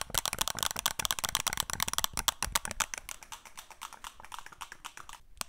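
A flat, thin, rigid black and green plastic Wacom drawing tablet, held in both hands, is tapped and scratched with long nails. The result is a rapid run of bright, dry clicks with almost no ring, centered around 3.3 kHz. The clicks are dense and loud for the first three seconds, then thin out into softer, scattered scratches and taps.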